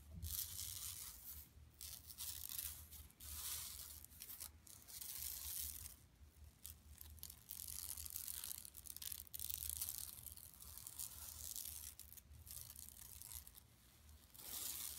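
Long nails on both hands scratch over the printed surface of a large, flat, empty, yellow-striped woven plastic mesh tote bag lying on carpet. The result is a bright, dry, rasping scratch that comes in uneven bursts with short pauses, over a faint low hum.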